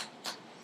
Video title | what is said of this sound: 極鮮極美～「鳳尾蝦花球」好吃到宴客超有面子│蔡宗憲 老師 | Tendrá un sonido nítido Dangdangdang cierto Eso significa que no está hueco por dentro